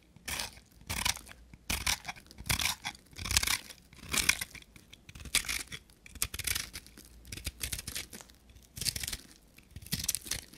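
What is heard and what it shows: A knife blade scrapes and cuts a palm-sized, solid, dry soap bar with a copper-painted surface, held in the hand. Bright, crisp scraping and crunching strokes come in irregular bursts with quiet gaps between. Each stroke is dry and stops short, with no ring.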